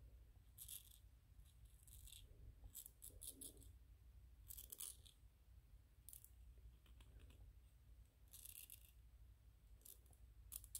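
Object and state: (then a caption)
3D-printed PLA plastic ghost toy. Fingernails scratch and tap the sides of a small white PLA plastic 3D-printed ghost figurine held upright. Short, crisp high-frequency clicks and scrapes come in bursts over a steady low hum.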